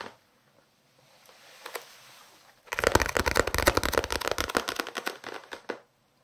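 Quick dry fingernail taps and scratches on a paperback, crisp papery ticks with no ring at all.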